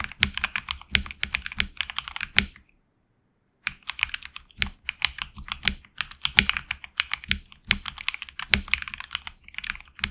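Fingertips type continuously on a HyperX Alloy Origins Core tenkeyless mechanical keyboard with HX Red switches, PBT plastic keycaps on an aluminum plate, and a hollow case. Rapid, bright, short clacking keystrokes run in quick bursts with a faint low thump under each press. The typing stops for about a second of silence near the three-second mark, then resumes steadily to the end.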